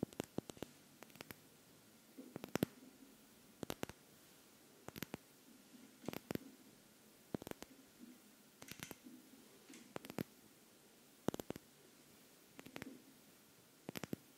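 Long nails tap and scratch a small glass perfume bottle, partly filled with amber liquid and topped with a pink cap. Sharp, bright clicks come in scattered clusters with brief, soft scratching between them. The taps are quiet and dry, dying away almost instantly.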